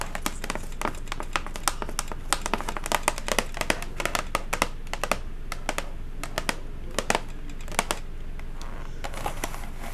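Long acrylic nails tap rapidly on a flat, hollow silver cardboard chocolate gift box with a blue ribbon. The result is a steady run of sharp, dry clicks with almost no ring, over a low background hum.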